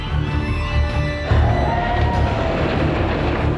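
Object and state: Nothing is struck.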